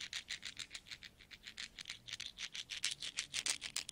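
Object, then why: Pile of metal coins. A small stack of solid metal coins is rubbed, then flat hands with long nails rummage through the pile. About 25 quick, bright, scratchy jingling bursts come in a steady rhythm, each fading almost at once, and they grow louder toward the end.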